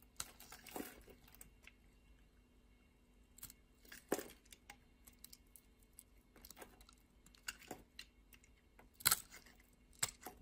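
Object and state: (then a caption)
Soap bar scraped with a blade. A metal utility-knife blade scrapes across the scored surface of a solid purple soap bar, partly translucent inside, held in the palm, chipping off small soap cubes. Quiet, bright, crisp scraping and crackling bursts come at irregular intervals, with a few sharper snaps as cubes break away.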